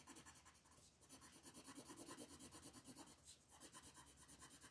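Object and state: Colored pencil shading on a paper page.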